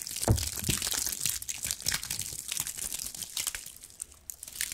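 A cluster of small dry pine cones is scratched and squeezed with long acrylic nails, giving a dense run of bright, dry crackles and crinkling scrapes. Soft low thumps sit underneath, and the short crunches die away almost at once.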